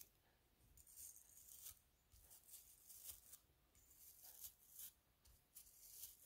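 A plastic toothbrush scrubs the inner lip and striped outer surface of a hollow spiral seashell held in the hand. The result is soft, bright, scratchy bristle strokes that come in short rasping bursts with quiet gaps between them.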